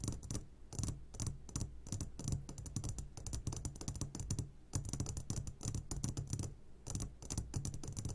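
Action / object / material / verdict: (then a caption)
tap / glass jar of hard candies / glass / none. Fingertips tap rapidly on the sides of an upside-down clear glass jar full of hard candies. The result is a dense run of short, crisp clicks with bright highs over a low, steady hum near 100 Hz, with brief pauses between the bursts of tapping.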